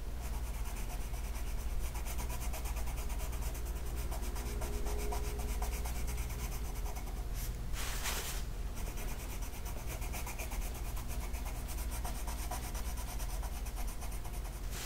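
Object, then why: Colored pencil on a paper sheet. A green colored pencil rubs across a flat paper mandala coloring sheet. A steady, dense scratching runs throughout over a low rumble, with a brief brighter, hissy burst of strokes near the middle.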